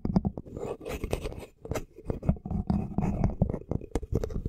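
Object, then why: Wooden comb. A small, solid wooden comb with wide teeth is held horizontally in front of the microphone while fingertips and nails strum and scratch across its teeth. The result is a rapid, uneven run of dry, low clicks and ticks mixed with short scratchy brushing passages, with almost no ring after each pluck.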